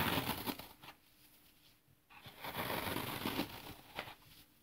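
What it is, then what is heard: Dry floral foam being crushed. Fingertips press into and crush a palm-sized slab of dry, porous green floral foam with oval finger holes, held in both hands over artificial grass, breaking off crumbly pieces beside a loose pile of foam crumbs. Dry, bright crunching and crackling bursts come first, then a brief quiet stretch before a second run of grainy crushing with a few sharper snaps.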